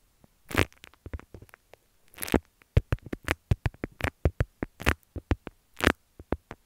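Long nails scratch and press a folded beeswax-coated cotton wrap with a leaf print, producing about twenty short, dry crinkles and taps. Some are longer broadband scratchy rustles and others are quick clicks with a soft low thump. Each sound stops almost at once with no ring.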